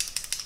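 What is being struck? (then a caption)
Plastic eyebrow brush pen. A plastic Catrice semi-permanent eyebrow pen with an ultra-fine brush tip is shaken before use, as its instructions say. It gives three short, bright, high-pitched rattles with almost no low end.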